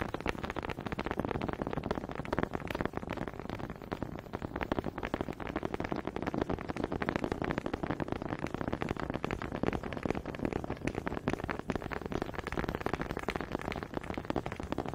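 Two small solid wooden honey dippers with grooved heads are held close to the microphone in fingers with long pink nails, and one is tapped and clacked against the other. The result is a steady stream of rapid, dry wooden clicks and clacks, mostly mid-pitched, with no ringing after each hit.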